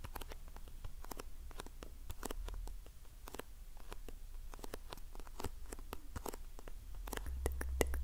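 A small printed cardboard box of facial sheet masks, held close to the microphone, is tapped and scratched with long painted nails. The result is a quiet, irregular stream of quick, dry clicks and light scratching over a low, steady rumble.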